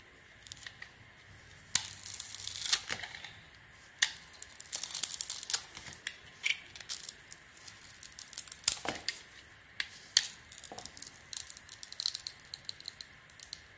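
A metal blade held by fingers with long painted nails carves and peels the dark glitter coating off a hand-sized, solid oval bar of soap with an embossed logo, exposing the white soap underneath. Quiet, bright scraping and crisp crackling ticks come in irregular bursts, like fine tearing, with almost no low end.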